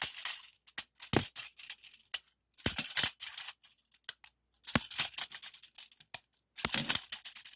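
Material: Metal, plastic.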